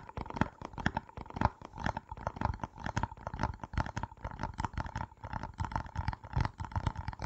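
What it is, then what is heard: Plastic jar tapped and scratched. Fingertips and nails rapidly tap and scratch the red plastic screw lid and sides of a small round plastic jar with a printed label, held in both hands in front of a foam-covered microphone; the jar looks hollow, though whether it is full cannot be seen. The result is a dense, uneven stream of soft, dry, low-heavy thumps and clicks with no ring, over a faint steady mid-range tone.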